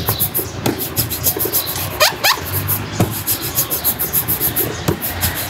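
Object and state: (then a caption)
Leather boot being buffed. A cloth is rubbed rapidly back and forth across the toe and upper of a black leather Dr. Martens lace-up boot with a thick sole, worn on a foot resting on a shoeshine stand, buffing it. The result is a steady, rhythmic stream of bright swishing strokes, with a few short squeaky sweeps rising in pitch partway through.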